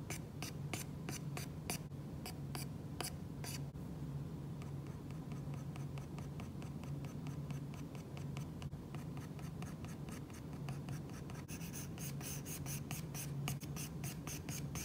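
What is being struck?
Glass tablet screen with matte plastic protector, stylus tip.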